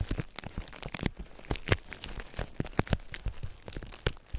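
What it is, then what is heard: Plastic bubble wrap being squeezed and popped. Clear plastic bubble wrap held over the microphone is squeezed and popped with the fingers, giving a rapid, irregular series of short, sharp pops and crackles. Each pop is brief with almost no ring, and sits over a soft crinkling of the plastic, with most of the energy in a low, thumpy register.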